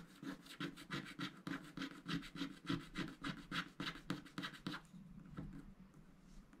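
A wooden stylus scrapes across the lower motifs of a flat, black-coated scratch-art paper sticker sheet held by hand. Quick, regular back-and-forth scratching strokes give a dry, rasping texture with bright high edges. After about five seconds the strokes fade into softer, quieter scraping.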